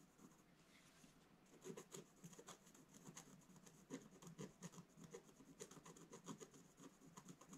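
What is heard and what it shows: A pointed wooden stylus, held upright, scratches across a black-coated scratch-art paper page in a bound book. Quiet, dry, rasping strokes come in quick, uneven bursts, each with a papery low-mid body and a thin bright hiss. There is no ring after each stroke.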